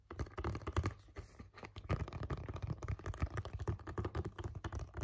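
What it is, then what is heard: Cardboard box tapped and scratched. Fingertips and nails tap and scratch a hollow, blue printed cardboard box for a Halti dog headcollar, making a quick, uneven run of soft, dull taps. The taps are mostly low thumps with light scratching between them. Each one dies away almost instantly.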